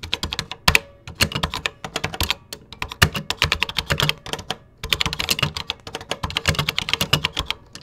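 Fingertips type steadily on a vintage 1980s computer keyboard with cream plastic keycaps, producing a rapid run of short, bright plastic clicks with dull low thumps underneath. Brief pauses come near the first second and just before the fifth.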